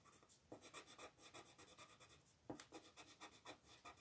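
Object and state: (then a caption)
Colored pencil scratching on a paper coloring page. A teal colored pencil makes rapid, short scratching strokes to fill in shapes on a thin printed paper mandala coloring sheet lying flat on a dark wooden table, while the other hand, with red nails, holds the sheet still. The strokes are quiet, dry and bright, with a papery rasp that comes in quick, uneven bursts. Sharper, louder strokes land at about half a second and two and a half seconds in.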